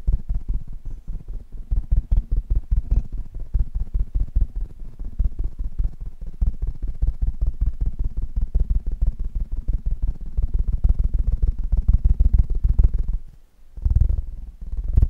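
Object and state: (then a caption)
Metal microphone grille. Fingertips of both hands tap fast on the hollow metal mesh grille top of a black Blue Yeti microphone. The result is a dense, steady stream of short, dull, deep thumps with almost no ring. The tapping stops briefly near the end, then resumes.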